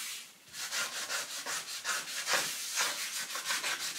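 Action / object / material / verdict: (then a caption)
scrape / wooden serving tray rubbed with a cloth / wood / none. A cloth rubs and wipes the inside of an empty, long, shallow, rectangular wooden serving tray with raised sides, resting on a countertop, while one hand steadies the rim. The result is a steady run of bright, breathy swishing strokes with almost no low end, each rising and fading in a quick back-and-forth rhythm.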